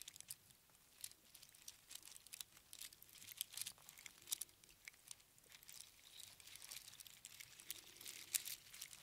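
A strand of small hollow spiral seashells on string is held in cupped hands and shaken and squeezed, so the shells rattle against each other. The result is a quiet, dense stream of bright, dry clicks and crinkly ticks with almost no low end and no ringing, swelling in a few busier bursts throughout.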